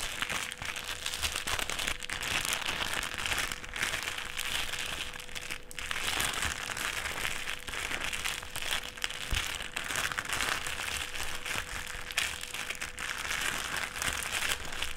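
A thin clear plastic sheet, folded into a strip, is pressed and rubbed flat on a table with fingertips. It makes a continuous, dense, bright crinkling and crackling that swells and eases throughout, over a faint steady low hum.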